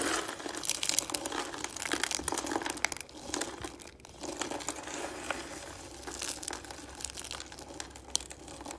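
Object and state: Dry shredded soap being crushed.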